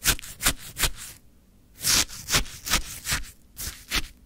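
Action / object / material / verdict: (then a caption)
scrape / frozen shaved ice in a plastic cup, scraped with a wooden stick / ice / none. A wooden stick scrapes and digs into a full plastic cup of orange frozen shaved ice. Nine bright, crunchy, gritty scrapes come in an uneven rhythm, with a short pause after the first three.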